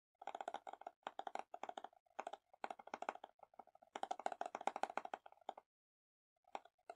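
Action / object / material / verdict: tap / small plastic slime container / plastic / none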